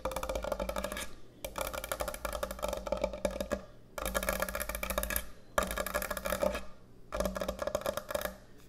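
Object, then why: Thick end-grain hardwood cutting board. Long nails tap quickly across the top and edge of a large, thick, solid end-grain hardwood butcher block cutting board. The tapping comes in dense bursts separated by brief pauses, each tap a short, dry wooden knock with a hollow tone around 600 Hz that dies away almost instantly.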